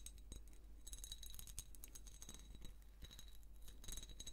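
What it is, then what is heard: Ribbed glass jar. A hand-sized hollow jar of ribbed amber glass is held in both hands while long painted nails slowly scratch and tap its ribbed surface. Quiet, dense, bright clicks and scrapes are heard, with faint glassy ringing over a low steady rumble.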